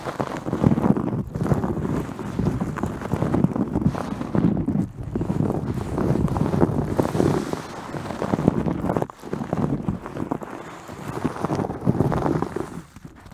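Long painted nails from both hands scratch continuously at a white terry cloth towel covering a microphone. The result is a dense, muffled rustling and scratching, mostly low and muffled with little high end, with short dips around the 5 and 9 second marks.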